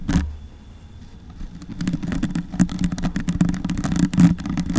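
Long white nails and fingertips scratch and rub the black foam windscreen on a silver Yeti microphone, a soft, porous dome. After a brief burst at the start and a quieter stretch, a rapid, uneven series of brushy, crackling scrapes builds over a steady low hum.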